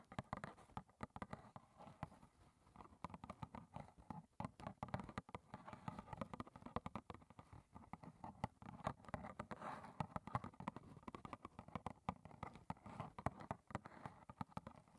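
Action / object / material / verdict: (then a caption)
tap / small cardboard box / cardboard / none. Long red nails tap rapidly on the front face of a small, closed, hollow rectangular cardboard box of Clipper green tea standing upright on a table. The result is a quiet, continuous patter of dull, hollow clicks that stop almost instantly, with most of the weight in the low end and little brightness.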